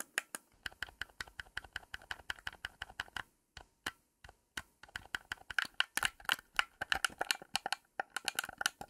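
Long pink nails tap the hollow plastic shell of a hand-sized blue Xbox Series X controller and click its D-pad and buttons. The result is a rapid run of short, rattly, keyboard-like clicks with brief pauses between bursts.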